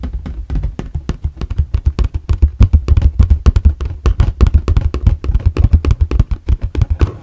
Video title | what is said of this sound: ASMR Plastic Box Tapping & Scratching | these are the plastic sides they have this nice kind of like like a corrugated texture